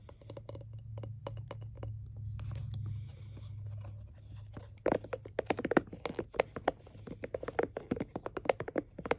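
Nails and fingertips tap and scratch a palm-sized scalp massager with a blue plastic rim and silicone bristles. A soft, steady scratching over a low hum gives way after about five seconds to a quick, irregular run of sharp, dry clicks and taps that stop almost instantly.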